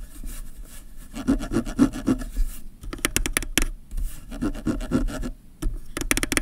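Fingernails scratch and rub back and forth across the ridges of a ribbed rubberized zoom ring on a black plastic kit lens barrel. A dry, rasping, sawing-like scrape comes in two bouts, with bursts of bright, crisp ticking between and after them.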